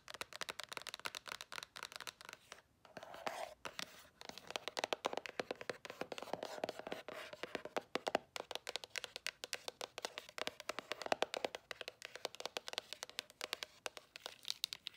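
Long nails rapidly tap and scratch the top of a small, hollow white cardboard earbud box with a glossy print. The result is a dense stream of crisp, dry clicks and papery scratches with a hollow mid-range tone and bright edges. Each tap stops almost instantly, with brief pauses in between.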